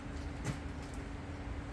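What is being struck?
Nothing is struck.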